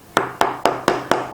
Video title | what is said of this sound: No knead whole wheat bread (quick and only 5 ingredients) | pretty much seems to me a hollow sound and then it's ready to go